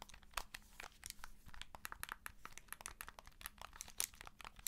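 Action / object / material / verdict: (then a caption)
tap / plastic handheld game console case tapped and scratched with fingernails / plastic / none. Long nails tap and scratch along the plastic edge and vents of a handheld game console in a white and blue plastic case, held sideways. The sound is a quiet, steady flurry of dry, bright clicks and scratchy rasps that stop instantly with no ring, over a faint low background hum.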